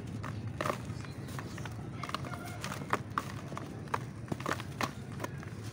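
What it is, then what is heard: Dry ash clump. Both bare hands squeeze and crumble a large, solid, dusty grey clump of dry ash or cement-like powder inside a plastic basin, the fingers breaking it apart as dust and powder fall away. Short, dry, crunchy crackles and soft gritty crumbles pop out irregularly over a steady low rumble, each snap fading almost instantly.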